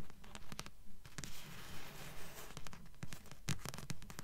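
Long nails tap and scratch the glossy card front cover of a thick blue paperback book with a solid paper block, held upright. Quick, fairly regular soft taps with a dull low thump land over a rough, bright scratching rustle, each tap dying away almost at once.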